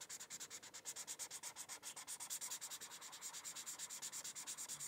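A white felt-tip marker is rubbed in continuous coloring strokes across a thin paper coloring sheet resting on a hardcover book. About 45 quick, evenly pulsing scratchy strokes follow one another, each a dry, bright hiss with almost no low end.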